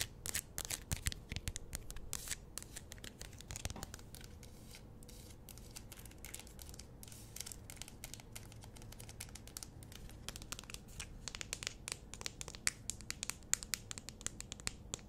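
Long nails tap and scratch a small plastic squeeze tube of hand cream with a gold cap. Rapid, dry clicks and crisp, bright scratching run steadily throughout, each tap short with no ring.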